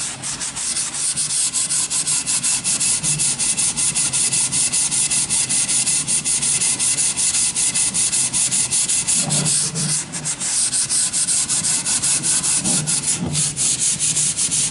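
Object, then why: Wooden plank. A sanding sponge is rubbed back and forth over the surface of a long, solid wooden plank. It makes a steady, bright, rasping hiss in quick, even strokes, with a brief lull around the ten-second mark before the sanding picks up again.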